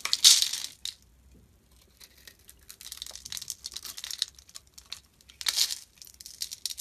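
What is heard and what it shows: A utility blade carves and scrapes a solid, hand-size striped purple and white soap bar into crumbly curls. Bright, crisp scraping and crackling bursts come loudest at the start and again later, with a near-silent pause and softer, gritty scrapes in between.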